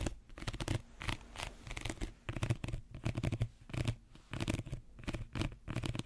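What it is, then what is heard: Woven reed basket. Fingernails scratch the weave of a small, empty woven reed basket held close to the microphone. Short, dry, raspy bursts of scratching come in quick clusters, with a heavy, close low-end thump under bright, crackly texture and almost no ring after each stroke.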